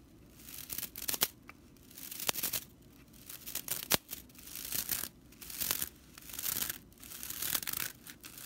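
A fan of dry straw bristles on a straw whisk broom, lying on a table, is scratched and raked by both hands with long nails. Repeated swells of bright, dry, crackly rattling and scratching rise and fade, broken by sharp short ticks, with very little low end.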